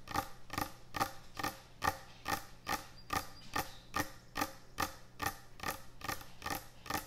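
Long nails tap and scratch on a large, thick, solid wooden end-grain butcher block cutting board. About 17 quick, dry, bright clicks come at a steady brisk pace, each dying away almost instantly, over a faint low hum.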